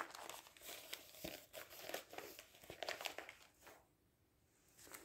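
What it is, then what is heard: Newspaper being handled. Fingertips lift, turn and flatten the pages of a large, thin newsprint newspaper lying open on a wooden table. Soft, bright crinkling and rustling come in quick bursts, with a brief quiet pause near the end before the paper rustles again.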